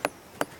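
A hammer strikes a partly weathered rock twice, each blow giving a short, dull thud centered in the low mids that dies away almost at once. The flat, muffled tone shows the rock has already partly disintegrated.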